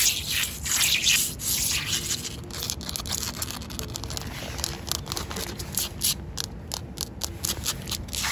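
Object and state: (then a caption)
Wet concrete pavement. Long coral acrylic nails and fingertips scratch and rub solid, wet, rough outdoor concrete pavement. The result is a steady run of bright, gritty scraping strokes in an uneven rhythm, with most of the energy high up and only a faint low rumble beneath.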